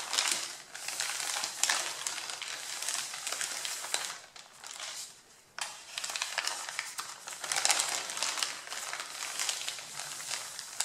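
Fingertips and nails rub, press and crinkle the top sheets of a stack of thin, white printed pattern paper while moving them aside. The result is a steady, bright, crackly rustling with almost no low end, easing to a quieter patch partway through before picking back up.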